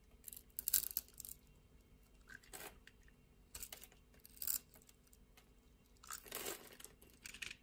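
A metal utility-knife blade scrapes across a solid, translucent red glycerin soap bar held in the hand, its surface deeply scored in a grid. Each pass gives a bright, crisp crunching scrape with short pauses between, as crunchy chips of small cubes break away.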